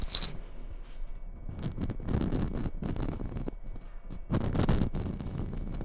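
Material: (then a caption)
Glitter. Long red nails scratch the glitter coating of a hollow red Christmas bauble held close to the microphone. The result is a dense, uneven run of rough scratching and crackling, with low rumbling body and bright, sparkly edges that swell and fade in bursts.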